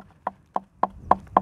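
Five knocks on the thin plastic protective panel of a Harley-Davidson Pan America motorcycle produce short, hollow taps with a dry, mid-pitched clack that dies away almost instantly. The plastic sounds thin and cheap, giving an unfinished impression, and likely would not survive a first off-road fall without added protection.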